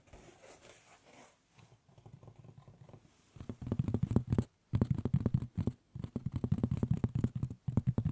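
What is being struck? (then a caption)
Woven straw hat. A light-colored woven straw fedora with a black band is held hollow-side near the ear and scratched and rubbed with fingertips. A faint airy rustle gives way to quick, dense bursts of dry scratching and crackling with a dull, low-heavy body. The bursts come in short clusters separated by brief silences.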